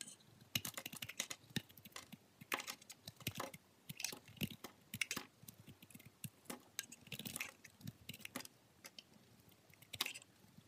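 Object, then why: Glycerin soap bar. A steel utility-knife blade shaves and scrapes curls off the surface and edges of a solid green translucent glycerin soap bar held in fingers with long pink nails. Dense, crisp, bright scraping clicks and short rasping bursts follow one another quickly, each dying away almost instantly over a quiet background.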